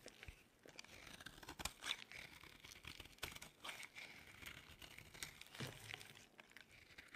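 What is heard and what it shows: A solid, dry yellow oval bar of soap is held in the hand and carved and crumbled with a metal blade. It makes a steady run of bright, crisp scraping and crunchy crumbling sounds, with sharper cuts standing out now and then. The sounds are short, with almost no ring.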